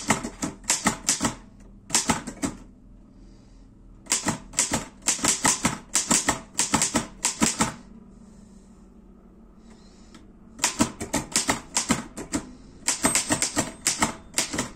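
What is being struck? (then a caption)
Metal portable typewriter. Fingertips type on the round keys of a black metal Erika 5 portable typewriter, producing rapid bursts of sharp, bright clacks. Two longer pauses break up the typing, and only a faint low hum remains during them.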